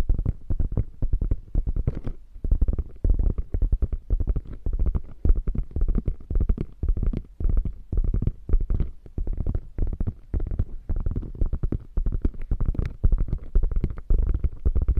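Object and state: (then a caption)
Quilted faux leather bag. Long nails scratch and tap the quilted flap of a beige quilted faux leather bag. The result is a dense, irregular stream of quick, dull, low-heavy taps and soft scratches with almost no ring, continuing steadily throughout the clip.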